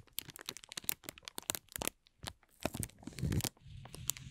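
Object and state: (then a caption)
Clear plastic film being crumpled. A thin, hollow, empty ball of clear plastic film is stretched and pulled at the edge, then crumpled between both hands with the fingers. It gives quick, bright crackles and crinkles that come in rapid bursts with short pauses. Toward the end there is a denser, fuller rustle with some low handling noise.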